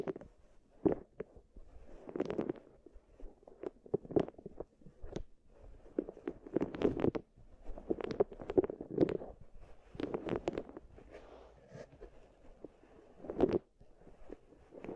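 Long nails and fingertips rub and roll solid wooden balls inside two small wooden bowls, with microphones placed in the centre between them. The result is soft, rumbling clusters of clicks that swell and fade in irregular bursts, centred in the low-mid range with brief bright clicks on top.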